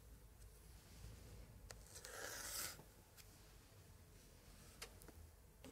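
A gloved hand traces a thin pointer stick over a thick paper page of an open 1880s scrapbook with pasted printed cards, rubbing and scratching the same spread throughout. Soft, dry scraping runs under a low room hum, building to a brighter rasping rub around the middle. A few sharp little ticks punctuate the quieter stretches.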